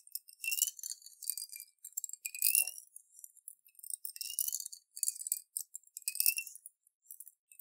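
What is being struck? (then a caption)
Glass jar holding water and small beads. A clear glass jar with a silver metal screw lid, about half full of water with small colorful beads inside, is held in both hands and turned and shaken. The water sloshes and the beads clink against the glass in quiet, irregular bursts of bright, high, glassy ticks and rattles. Each clink fades almost instantly.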